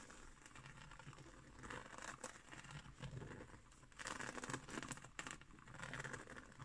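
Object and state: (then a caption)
Woven straw trivet. Long nails scratch along the coils of a round, flat, coiled woven straw or seagrass trivet resting on a wooden table. The sound is a dry, crinkly rasping with a bright, papery texture, rising into louder bursts of scratching before easing back.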